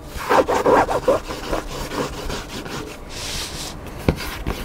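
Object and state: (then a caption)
Hardcover book. Fingertips and nails scratch and rub the cover and spine edge of a hardcover cookbook lying flat. Loud, rhythmic bursts of dry, rasping scratching come first, then fade into softer brushing with a brief brighter hiss. A short, sharp tap lands near the end.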